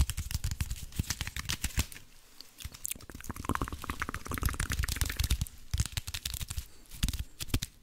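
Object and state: Aluminium foil wrapped block.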